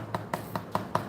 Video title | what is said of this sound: K1 Runs is live and let's unboxing together | This kind of foam sound is more to the characteristic of the Zoom X foam.